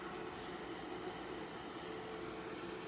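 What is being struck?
Nothing is struck.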